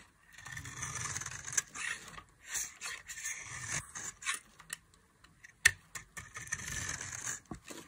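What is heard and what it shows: A solid oval bar of dry yellow soap is held in the hand and shaved with a metal utility knife blade, the cutting and scraping sending flakes falling. Dry, bright scraping strokes come in bursts with brief pauses, each with a crisp, high-frequency edge and little low end, punctuated by a few sharp clicks.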